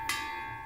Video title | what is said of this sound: TAGIHAN LISTRIK BISA BENGKAK! Pompa air salah satu sumber masalahnya | Nah, ini tabung masih normal, diketuk-ketuk bunyinya nyaring. Ini ada anginnya, ada udara ya. Normal nih kalau tangki seperti ini ya.